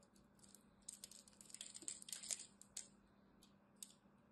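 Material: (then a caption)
Soap. A solid green bar of soap is held between both hands while a utility knife blade shaves and carves chunks from its surface. Dry, crisp scraping and cutting sounds come in uneven bursts, mostly high and bright, with a few sharper crackles near the middle. A faint low hum runs steadily underneath.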